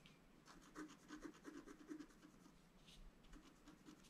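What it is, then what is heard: Scratch-art paper card being scratched. A wooden stylus rubs and scratches the coating off a thin, solid, flat black-coated scratch-art paper sheet lying on a table. Quiet, uneven scratchy strokes repeat in quick succession, each a short dry rasp with faint bright edges that stops almost at once.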